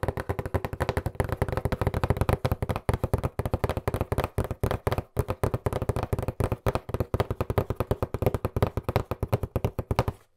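Fingertips tap and knock fast and aggressively on a hollow white cardboard box with black print, held close to the microphone. Dozens of rapid, dry, hollow thumps come in a steady stream, each dying away almost instantly. The sound is mostly low and thuddy, with little brightness.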